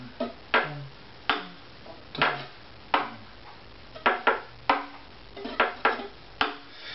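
A hollow wooden violin lies face up, its neck held in one hand, while its top plate is tapped 12 times with a thin stick near the bridge area. Each tap gives a short, dry, woody knock centred around 1 kHz with a little bright edge, dying away almost at once.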